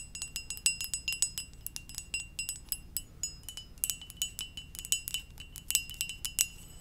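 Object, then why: Ceramic mug. A hollow, empty red and white ceramic mug shaped like a Pokeball is held in one hand and tapped with long dark-painted nails. Many quick, light taps in an uneven rhythm produce bright, glassy clinks with a steady tone near 3 kHz and high overtones. Each tap fades almost instantly over a faint low hum.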